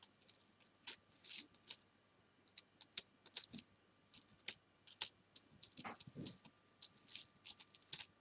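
Fingertips with long nails pick up, drop and rattle a spread of many small solid jelly beans against each other on a fabric sofa, while coins sit untouched to the side. Quiet bursts of short, bright, dry clicks and tiny rattles come and go with brief silences between them, with almost no low end and no ring after each tap.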